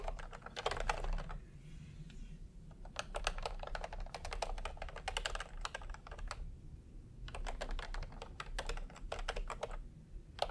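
A full-size plastic typewriter-style computer keyboard with round retro keycaps in peach and cream, lying on a white cloth, is typed on with fingertips in light taps. Quick, dry clicks come in bursts with short pauses between them, over a steady low rumble.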